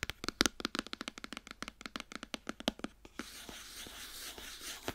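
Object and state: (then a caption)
Cardboard box tapped and scratched with nails. Long nails tap quickly on the side panels of a white cardboard iPhone box held upright, giving about two dozen short, dry, bright clicks. After about three seconds the tapping turns into a steady, hissy scratching across the cardboard until the end.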